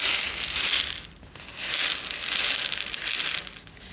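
A medium plastic jar with a yellow lid, partly filled with instant tea granules, is turned and shaken in the hands so the granules slide and rattle inside. The result is a bright, hissing, gritty rattle that swells, dips briefly near the middle, then swells again before fading.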